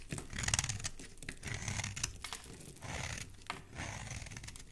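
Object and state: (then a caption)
Bar of soap being scraped. A small, solid, cream-colored bar of soap held in one hand is scraped repeatedly with a metal blade, shaving off crumbly bits. The sound is a dry, crackling, crinkly rasp with a bright hiss, coming in uneven bursts of scraping over a soft low rumble.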